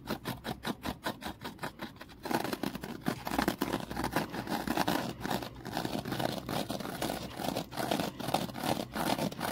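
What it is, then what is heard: Foam kitchen sponge being squeezed and scratched. A foam kitchen sponge is held from above while fingers compress and scratch it. For the first two seconds, soft rhythmic squeezes come in quick even pulses. Then a louder, denser run of rough, scratchy rustling carries through to the end.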